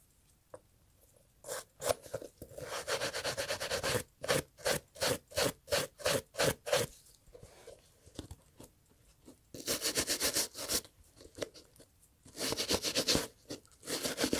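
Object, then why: Leather and textile loafer. A small bristle brush held in gloved hands scrubs a brown Italian leather loafer with a cream textile insert back and forth. Quick, bright, bristly scraping strokes come in rhythmic bursts, broken by short quiet pauses and a few longer continuous scrubbing passes.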